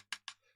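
Two light taps on the coal carriage of a large model train, held in the hand; it is a primed model kit, probably made by Revell, waiting to be repainted. The two short, bright clicks are sharp and high-pitched, with almost no low end, and each dies away almost at once over a faint steady hum.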